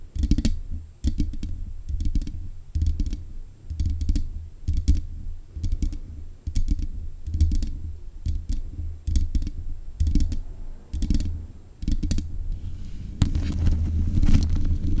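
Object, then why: Metal mesh microphone grille. Long nails tap rapidly on the hollow mesh grille of a black metal desk microphone. The taps come in quick clustered bursts, each a short, deep thump with a thin, bright click on top and almost no ring. The tapping grows denser and louder near the end.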